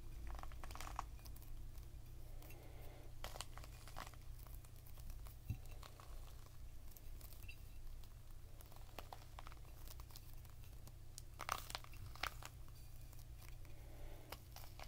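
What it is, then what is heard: Whole pomegranate. A whole red pomegranate, fist-sized and full with a leathery rind, is cupped in both hands and tapped and rubbed with the fingertips and short nails. Quiet, dry taps and crinkly scratching patter irregularly over a steady low hum, with a few sharper, brighter clicks standing out near the end. Each tap dies away almost instantly.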